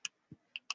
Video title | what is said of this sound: Garver Lounge baker Olivia Tierney makes challah bread - Cooking with the Cap Times | And if you knock it, it sounds hollow.